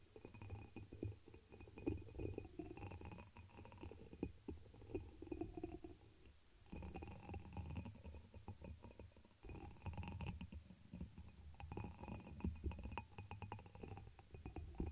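Long nails tap and scratch the textured surface of a dark amber embossed glass chalice, hollow and empty, turned upside down over the microphone. The close, muffled sound is dominated by a low, boomy hollow rumble, with quick soft clicks and scraping brushes that die away almost at once and a faint bright ring above.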